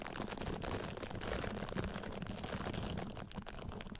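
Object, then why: Silicone facial cleansing pad scratched and tapped with fingernails. A pink silicone facial cleansing pad draped over a Blue Yeti microphone grille is scratched and tapped with long nails and fingertips across its silicone bristles. The result is a dense, continuous, muffled rustling and scratching, heavy in the low end, with rapid soft taps throughout.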